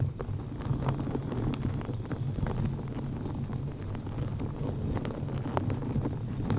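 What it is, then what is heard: Foam microphone windscreen. Long painted nails on both hands scratch and tap rapidly across a black foam-covered microphone windscreen held in place. The result is a dense, continuous muffled rumble with a steady low hum, sprinkled with soft brushing scratches and quick dull taps.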